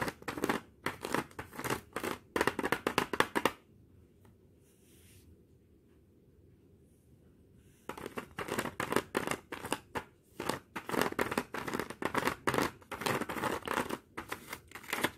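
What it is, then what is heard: Aluminium foil blister pack. Long nails and fingertips tap and scratch the foil surface of two flat aluminum foil and plastic tablet blister strips, full of tablets, lying on black cloth. Dense bursts of crisp, crinkly clicks and scrapes fill the first few seconds, then a stretch of low, quiet hum follows. The rapid tapping and scratching resumes for the rest of the clip.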